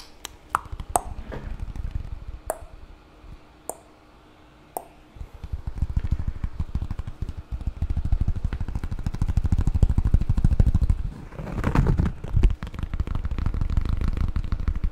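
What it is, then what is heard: Cork board tile. A flat, thin, solid cork board square about 20 cm across is held in one hand and tapped and scratched with fingertips and nails. A few sparse, sharp taps come first, then a steady, dense, low rustling scratch that carries on to the end.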